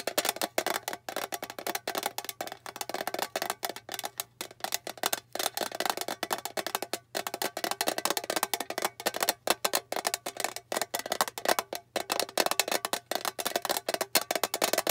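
A small, flat, rectangular blue metal tin with a printed bow, hollow inside, is held close and tapped fast with long painted nails. The result is a dense, continuous stream of short, bright, dry clicks and taps with a hollow metallic tone and almost no ring or low end.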